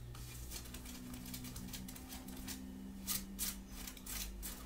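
Long dark-painted nails on both hands scratch the chest of a grey printed long-sleeve cotton shirt worn on the body. The scratches come as soft, bright, rapid rasping bursts over a steady low hum, growing louder in a few strokes past the three-second mark and near the end.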